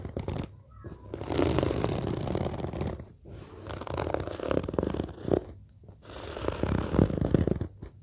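Long nails scratch and tap with both hands across the surface of a large, flat, orange padded fabric case with a zipper. The result is a dense, low, muffled rustling in swelling bursts, separated by brief quiet gaps.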